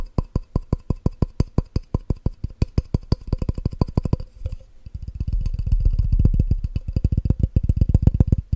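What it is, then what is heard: Glass measuring cup. A clear, hollow, empty glass measuring cup with red markings is held above a microphone and tapped quickly with the fingertips, producing rapid, short, dull low thuds with very little ring. The taps come in an uneven stream, pause briefly around the middle, and then return denser and louder.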